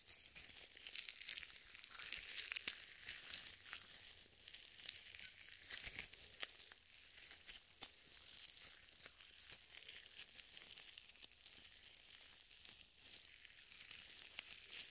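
Purple nitrile gloves thickly covered in lotion are rubbed over each other with the fingers interlaced, producing a slick, squishing glove sound. The sound is quiet, bright and high-pitched, a steady wet crackle with many tiny sticky pops and almost no low end.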